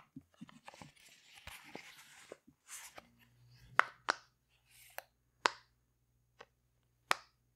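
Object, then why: Silicone pop-it fidget toy. A rainbow heart silicone pop-it fidget toy has its bubbles pushed and popped with fingertips and long nails. Soft rustling, squishy clicks give way to six sharp, bright pops with almost no ring, spaced unevenly over a faint low hum.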